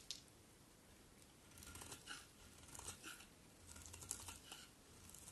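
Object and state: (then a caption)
Bar of soap being shaved. A solid cream soap bar held in the hand is shaved with a metal utility knife blade. Quiet, crisp scraping and crackling strokes come in bursts with a bright, hissy edge over a faint low rumble.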